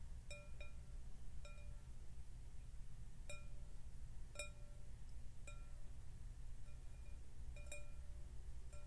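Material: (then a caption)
Glass. Fingertips and nails tap a large, clear, empty glass bowl resting on a glass tabletop while both hands hold its rim. Short, bright, chime-like clinks ring out briefly and repeat at uneven intervals over a steady low hum.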